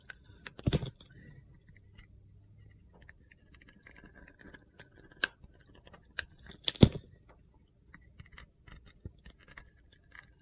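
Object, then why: Bar of soap scraped with a metal blade. A metal utility knife blade shaves and scrapes the coated edge of a hand-sized, hand-held solid bar of soap, coated in blue glitter and white inside. Quiet, gritty scraping and soft crunchy ticks run throughout, with a few sharper, brighter scrapes standing out near the start and again around the middle.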